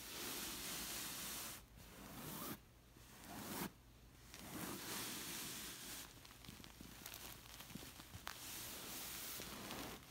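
Long nails scratch the waffle-textured, woven chenille-like fabric of a stuffed dark red pillow, producing a dense, hissy rustling scratch with brief pauses. Short quieter gaps break up the scratching, which ends in a run of quicker, uneven strokes.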